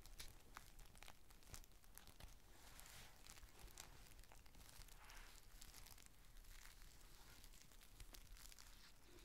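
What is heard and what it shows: Fingertips and short nails squeeze and crinkle a thin, clear plastic rain cover folded into a flat, hollow, empty square resting on a white table. A steady, quiet stream of crisp crackles and rustles with bright, sharp snaps continues throughout, with no pauses.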